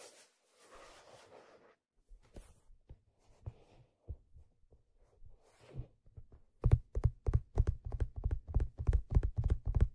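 Fingertips tap on the stitched leather crown of a black leather fedora with a hollow crown, held up in front. A soft rustle opens the clip, then scattered light taps give way to a quicker, uneven run of dull, low, hollow thumps that stop short with almost no ring.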